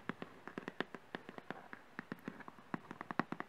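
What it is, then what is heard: Thin cardboard box. A small printed thin-cardboard retail box for a Zoom H1 recorder, held upright in both hands, is tapped and scratched with fingernails. About 25 quiet, dry, crackly clicks and scrapes come in an uneven stream, each dying away almost instantly with a midrange papery tone.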